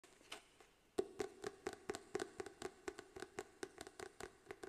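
Fingertips and nails tap the glossy card front cover of a green paperback book, "How Money Works," a solid stack of paper held upright in front of a fluffy mic. About 21 quick, dry taps come at an irregular rhythm, each with a soft hollow tone around 390 Hz and almost no ring. The taps are quiet and close, with little low end.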